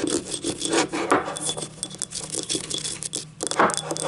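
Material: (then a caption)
Ceramic. Long nails scratch and tap the labeled base and outer wall of a small, hollow, empty yellow ribbed ceramic cup. The sound is a steady dry, rasping scrape with a bright, hissy edge, broken by quick light taps that die away almost at once.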